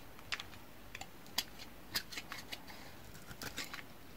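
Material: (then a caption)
Soap. A solid yellow bar of soap held in the hand is shaved and scraped with a metal utility knife blade, making a quiet series of short, crisp, bright scraping ticks spread unevenly over a low steady hiss. Curls and flakes of soap pile up as the blade cuts.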